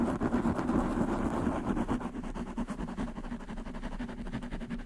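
Long manicured nails scratch fast across a black foam windscreen on a desktop microphone. The result is a dense, muffled, rumbling scratch with a low hum around 238 Hz. It runs in quick, uneven strokes at a steady level, slightly louder in the first two seconds.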